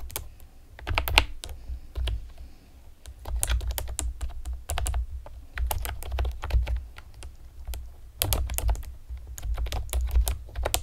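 Long painted nails and fingertips type rapidly on a pastel plastic typewriter-style computer keyboard with round retro keycaps and hollow keys. Bursts of bright, sharp clicks come in quick clusters separated by short pauses, over a steady low hum.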